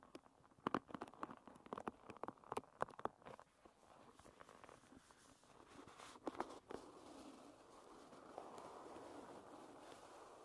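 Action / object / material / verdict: scrape / wooden paddle hairbrush with wooden pins / wood / none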